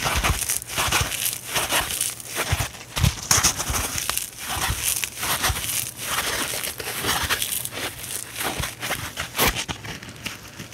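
Both hands with long painted nails and fingertips squeeze, crush and twist one dry, hand-sized, porous rectangular kitchen sponge (a yellow polyurethane foam body with a green abrasive scouring layer) over a wooden table, with other sponges lying still beside it. It makes a steady run of dry, bright, crunchy crackling and scratchy crinkling bursts with short pauses between squeezes and a faint low thump underneath.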